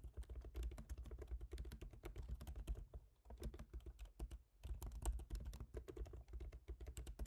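Fingertips of both hands type steadily on the black plastic keys of a silver aluminium MacBook Pro laptop keyboard, producing a rapid stream of short, dry taps with a soft low thump under each. Brief pauses near the middle break the otherwise continuous clicking.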